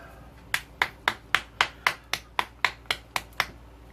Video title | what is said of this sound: Tamiya CB750F build. | You can hear it sloshing about in there, so that's good.